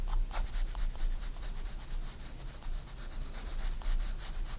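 A 4B pencil rubs dense shading strokes across a white paper sketchbook page lying flat. The soft, bright scratching comes in quick, uneven back-and-forth strokes over a steady low rumble.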